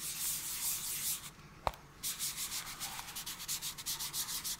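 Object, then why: Small cardboard box. Gloved fingertips scratch and rub a small, hollow, yellow-white cardboard camera adapter box held close to the microphone. A bright, airy scratching starts the clip, then falls to a brief near-silence broken by one sharp tap. It resumes as a run of quick, rhythmic scratching strokes.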